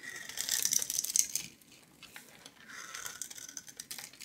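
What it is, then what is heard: Bar of soap scraped into cubes. A metal knife blade scrapes small cubes off a palm-sized yellow oval bar of soap, stamped with a logo, scored into a grid and held in one hand. The cubes crumble away with bright, crisp crackling and rattling, loud and busy for the first second and a half, then softer scraping returns toward the end.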